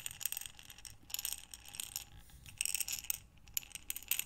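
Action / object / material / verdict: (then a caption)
shake / glass jar filled with small buttons / glass / none. A glass mason jar with a metal lid, full of small buttons, is rotated and tilted in both hands with long nails. The buttons rattle inside in bursts of crisp, bright clicking and clattering, with quieter shuffling between them and almost no low end.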